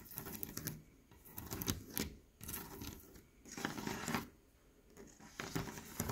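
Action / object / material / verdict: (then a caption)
scrape / leaded stained glass window panel / glass / none. A leaded stained glass window panel, with textured clear glass and red and green pieces set in dark lead came, is tapped and scratched with fingernails and fingertips. The result is bursts of dry, bright scratching and light ticking that swell and fade, separated by quieter stretches with a faint low rumble.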